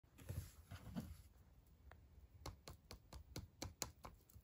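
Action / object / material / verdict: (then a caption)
tap / foil-wrapped chocolate egg / aluminium foil / none. A small hollow Christmas Kinder Surprise chocolate egg wrapped in printed aluminium foil is held in both hands while fingertips and short nails scratch and tap the foil. It opens with a soft, crinkly scratching rustle, then eight quiet, separate taps follow, each a short dull thump with a bright crinkly click that dies away almost at once.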